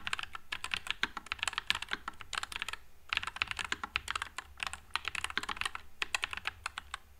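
Fingertips type continuously on a white low-profile NuPhy Air96 mechanical keyboard with Wisteria switches and plastic keycaps. The keystrokes are crisp and bright, with a dense, clacky patter of short, quickly decaying taps. There is little low-end thump and a brief pause around the three-second mark.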